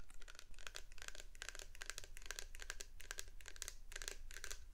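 A medium clear plastic shower gel bottle with a white pump top, full of blue liquid, is held in both hands close to the microphone and tapped and scratched with long painted nails. Quick, bright clicking taps and crisp scratches come in rapid clusters over a steady low rumble, each tap dying away almost at once.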